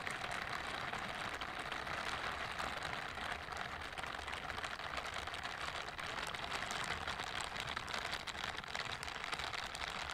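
Pink silicone scrubbing gloves are worn on both hands, with their smooth backs and bristled palms rubbed together close to a microphone without touching it. A steady, dense, bright scratchy rustle runs for about ten seconds at an even level, with fine rapid brushing detail and little low end.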